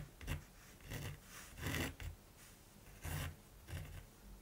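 A mechanical pencil rubs and scratches lines across the surface of a large, flat primed canvas. Quiet, raspy strokes come in irregular bursts, each with a soft low body and a bright scratchy hiss on top, separated by near-silent pauses.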